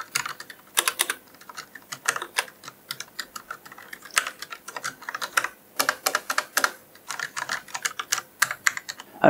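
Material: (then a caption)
Plastic. Fingertips of one hand press and tap the keys of a solid, full-size black Corsair K60 RGB Pro mechanical keyboard with plastic keycaps, plastic body and switches, lying on a desk. An uneven typing rhythm of sharp, bright plastic clacks follows, with almost no low end and each click dying away almost instantly.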